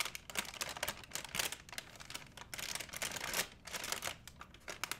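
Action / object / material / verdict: scrape / thin plastic shopping bag / plastic / none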